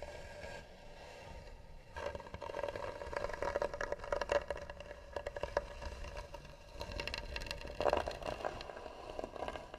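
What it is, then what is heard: Carved wooden box scratched. Long nails scratch slowly and firmly across the worn flat lid of a closed, hollow tan wooden box with a carved edge. After about two quiet seconds, dense rasping strokes begin, carrying a steady hollow ring near 600 Hz. The scratching rises and falls in bursts, with louder passes around four and eight seconds.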